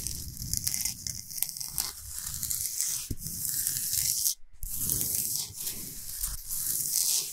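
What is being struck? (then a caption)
Salt block. Long nails scratch fast over the top of a large, flat, solid Himalayan salt slab. The result is a dense, continuous, bright, hissy rasp with a soft low rumble beneath it, broken only by a brief silent pause near the middle.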